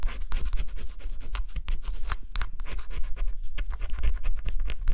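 A stylus scratches the coating off a flat cardboard scratch-off jigsaw puzzle in quick, repeated strokes. The result is a dense, dry, bright rasping that pulses stroke by stroke over a steady low hum.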